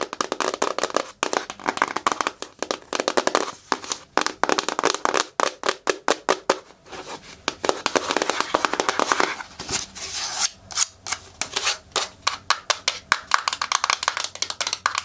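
A small, hollow white printed cardboard retail box for a LaCie external hard drive, apparently still holding the drive, is held in both hands and tapped and scratched with long natural nails. Rapid, dry, crisp taps alternate with bright, papery scratching, each sound dying away almost at once. Near the end the lid is lifted to reveal the inner tray.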